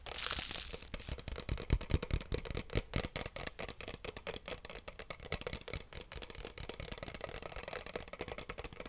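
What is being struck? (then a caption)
Small plastic bottle with cap. Long nails tap and scratch the sides and cap of a small pink plastic bottle close to the mic. A bright, scratchy rasp opens the clip, then gives way to a dense, irregular run of quick, dry clicks and taps with short scraping strokes that continues to the end.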